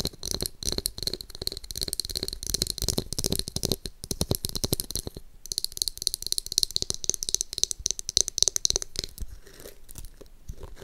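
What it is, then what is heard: Plastic hairbrush, tapped and scratched. Long nails tap and scratch rapidly across the pink glitter-backed plastic hairbrush, making a dense stream of bright, dry clicks and scratchy rasps with almost no ring. The activity grows quieter near the end as the brush is turned over to its bristle side.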